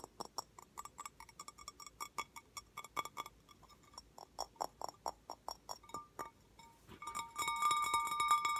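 Slow tapping on a handmade bowl made at a summer camp gives a run of short, bright clinking taps with a cowbell-like ring around 1.2 kHz. The taps are uneven in spacing and fade quickly. In the last second and a half a steady, sustained high tone rises underneath them.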